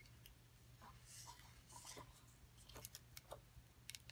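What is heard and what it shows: Long acrylic nails tap and scratch a solid, hand-sized rectangular plaster excavation block, with the kit box lying nearby. Soft, bright scraping sweeps give way to sharp, dry clicks that die out almost instantly, all over a steady low hum at a quiet level.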